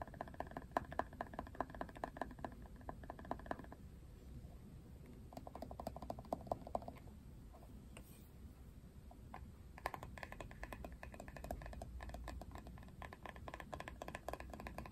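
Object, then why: Plastic paddle hairbrush. Fingernails tap and click quickly on the plastic handle and printed back of a plastic paddle hairbrush as it is turned. The hollow, dry clicks come in dense bursts with brief pauses, over a low background rumble.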